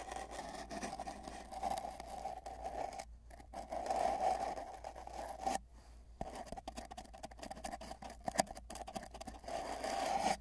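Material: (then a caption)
Cardboard. Fingertips rub and scrape both ends of a long, hollow, empty cardboard mailing tube with tape bands, lying on a bed. The dry, steady scraping carries a hollow resonant hum around 700 Hz, with short quiet gaps near the 3- and 6-second marks and a few sharper scratches later on.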